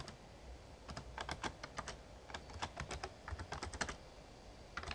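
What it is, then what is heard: Plastic membrane keyboard being typed on. Fingertips type on the keys of a full-size, backlit plastic Razer Ornata Chroma mechamembrane gaming keyboard. A steady run of short, soft clacks with brief bright tops fades instantly over a low, quiet rumble, with bursts of quick keystrokes separated by small pauses.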